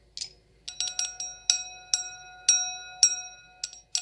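An empty, clear stemmed wine glass with a thin, hollow bowl is tapped with long acrylic nails, giving eleven sharp, irregular clicks. Each tap sets off a high, bright, glassy ring with a softer lower overtone that hangs and fades between strikes.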